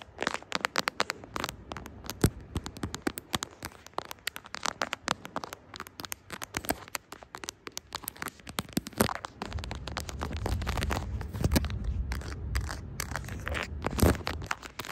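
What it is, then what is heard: Smartphone in silicone case, tapped and scratched with nails. Long acrylic nails scratch and tap the camera bump and back of a smartphone in a brown silicone case with plastic charms. The result is a dense run of quick, dry clicks and crackly scratches with a soft scraping rumble, growing fuller and louder in the second half.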